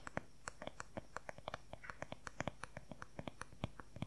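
Fingernails tap and scratch quickly on the smooth back of a long-handled wooden paddle hair brush. There are 26 short, dry, clicky taps, each dying away almost instantly, over a faint steady hiss.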